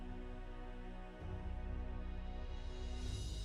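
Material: Nothing is struck.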